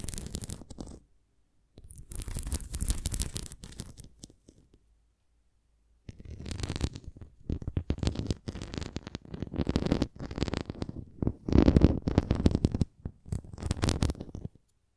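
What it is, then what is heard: Plastic flying disc scratched and tapped with nails. Long nails scratch and tap across the rim and bumpy spokes of a red plastic flying disc toy. Bursts of dense, crackly scratching come in irregular rapid clusters, broken by short silences, with most energy low and a dull, dry texture.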